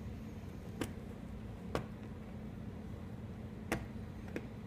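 A solid green blackboard chalk stick, with pink chalk pieces nearby on a white surface, is chopped into pieces by hand with the blade of a large steel kitchen knife. Four sharp, dry chops land at uneven intervals, each a brief crack that dies away almost instantly, over a steady low hum.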